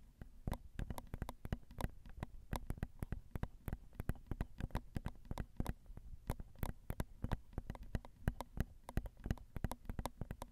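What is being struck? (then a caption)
Metal X/Y microphone capsules on a handheld recorder. Long acrylic nails tap gently on the crossed metal X/Y microphone capsules of a Zoom recorder. A steady stream of quick, irregular taps comes through as short, dry clicks with a heavy low thump, each dying away almost instantly over a quiet background hum.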